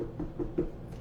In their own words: When you're buying a watermelon, always good to thump it. Hear whether it sounds hollow. In this case, it's a good thump.